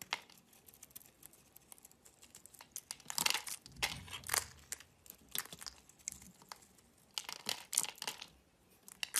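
A solid orange-and-white striped bar of soap, held in the hand, is shaved with a metal utility knife blade. Dry, crisp scraping and crackling bursts come in irregular clusters, bright and thin with almost no low end. The louder rasping strokes stand out over quieter crinkling scrapes.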